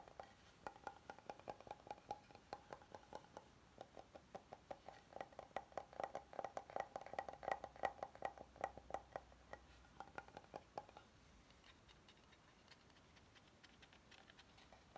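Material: Wood.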